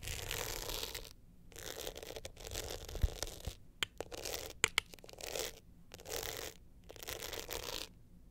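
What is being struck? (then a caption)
Glitter-coated hard-shell clutch with metal frame. An upright glitter hard-shell clutch with a metal frame is held in both hands while long nails scratch across its glittery face. Bursts of dry, bright, gritty scratching come in phrases separated by short silences, with a few sharp clicks and ticks cutting through near the middle.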